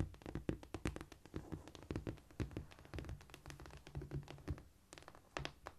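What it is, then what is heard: Cork floor. A flat, solid cork floor is tapped with long nail tips and with fingertips, palms up, giving quick, dry, irregular taps. The taps are mostly low and muffled with brief bright clicks and almost no ring.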